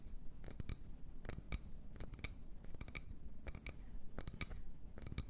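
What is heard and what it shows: Long nails scratch and tap the outside of an empty, medium wooden bowl held in both hands. Short, sharp, bright clicks with almost no ring stand out at irregular intervals over a steady low rumble and soft scratching.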